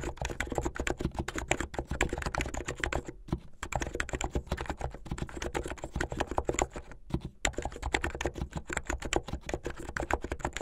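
Fingertips with medium-length painted nails type fast on a plastic mechanical keyboard with white and blue plastic keycaps. A dense, rapid stream of short, dry keystroke clacks with a full low body runs throughout, with two brief pauses near 3 and 7 seconds.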